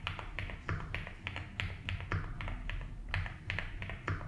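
A 75% mechanical keyboard with ABS keycaps in a light blue plastic case is typed on slowly with fingertips. The result is a steady run of soft clacking taps, each with a bright click over a low thock, set against a constant low hum.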